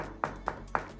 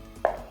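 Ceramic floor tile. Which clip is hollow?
The second.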